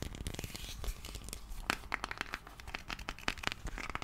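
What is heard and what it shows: Fingernails scratch and tap on a small round white plastic Nivea cream jar, making a dense run of quick, dry clicks mixed with crinkly, scratchy rustling. The taps are short and sharp with a bright edge, over a soft low rumble.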